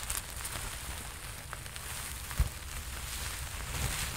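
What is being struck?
Sequin-covered fabric jacket.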